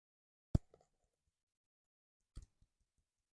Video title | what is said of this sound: Mous Limitless 5.0 Review... Solid Protection! - iPhone 15 Pro Max | even if you just tap it like this you can hear that power button move and it's more it's more pronounced on the power button side